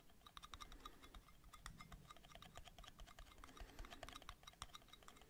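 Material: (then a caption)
Metal. Metal lids are tapped rapidly, recorded binaurally, giving a dense run of quick, light clicks with a thin metallic ping. Each tap dies away almost at once, with a bright ring around 1.2 kHz and a higher one, over a soft low rumble.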